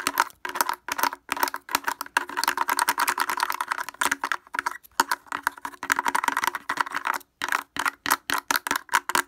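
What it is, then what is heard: Plastic portable speaker. Fingers wearing wooden clothespins tap rapidly on the front of a blue plastic portable speaker with a hollow housing and grille. The result is a fast, uneven stream of dry, clicky taps centered in the midrange with a hollow plastic tone. Each tap dies almost instantly, and the stream has brief pauses around 5 and 7.3 seconds.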